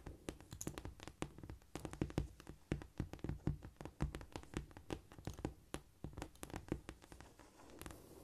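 Long nails tap and scratch rapidly across a flat, solid cork floor. Dense, dull, low thuds run together with dry, brushy scratching, and each tap dies away almost instantly. The tapping eases near the end into softer, continuous scratching.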